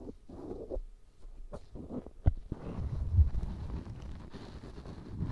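A black cotton swab held in the fingertips rubs inside the ear canal of a life-size white silicone ear binaural microphone made of solid, soft rubbery silicone. The sound is a deep, muffled rubbing and scraping, almost all low rumble, broken by a few sharp soft thumps.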